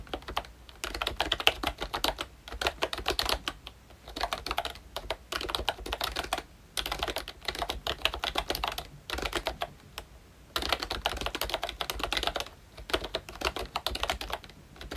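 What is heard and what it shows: Both hands type with their fingertips on a pink plastic ROYCHE Disney Mickey Mouse retro membrane keyboard with round black keycaps. Bursts of quick, bright, dry key clicks are broken by brief pauses, with each tap dying away almost instantly.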